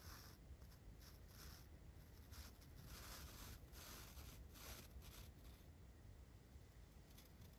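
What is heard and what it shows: A large flat paintbrush brushes from the side across a dark foam windscreen on a microphone. The bristles make soft, continuous scratchy swishes, with bright hissy bursts over a steady low rumble, staying quiet and even throughout.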